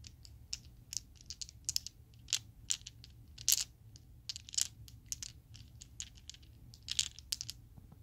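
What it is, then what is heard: Acrylic plastic dice. A set of small solid purple acrylic Chessex polyhedral dice is shaken and clacked together by hand in an open palm. Quick, bright plastic clicks and clacks come in irregular bursts over a faint low hum, each tick dying away almost instantly.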